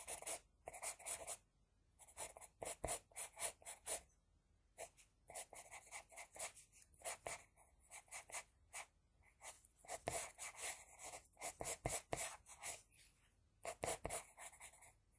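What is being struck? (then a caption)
Graphite pencil on a sheet of drawing paper. An HB pencil scratches across a flat sheet of drawing paper, drawing hair lines. Quick, dry, bright scratchy strokes come in rapid bursts separated by short pauses, with little low end.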